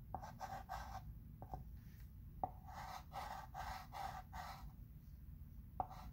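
A dark chalk pencil held in the fingertips writes letters across a flat, rectangular wood-framed chalkboard with a dark surface lying on a table, while the other hand steadies the board. Short scraping and scratching strokes come in bursts centred around 760 Hz, with a few sharp taps where the pencil meets the board, over a faint low rumble.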